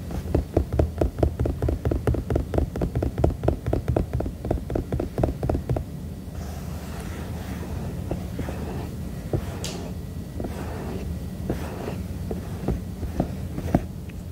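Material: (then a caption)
Silicone. Fingertips tap the body of a hollow, glowing white silicone duck night lamp. For about the first six seconds the taps come quickly as soft, dull thumps with a low, muffled tone. After that they thin out into scattered, lighter taps and some brighter ticks over a steady low hum.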